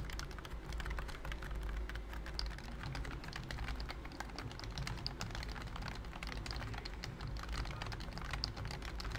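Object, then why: Plastic computer keyboard. Fingertips type quickly on a pink plastic BT21 COOKY computer keyboard with round cream keycaps and a hollow body. The result is a dense run of short, bright, clacky key taps over a steady low hum.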